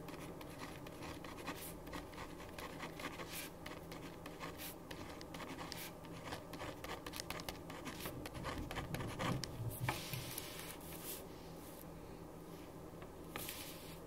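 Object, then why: Ballpoint pen on paper sheet on wooden desk. A black ballpoint pen writes across a white printed paper sheet lying flat on a wooden desk. The pen tip scratches the paper in quick, irregular strokes that form a steady, soft bed of bright scratching, and the sound swells slightly around the middle before settling back.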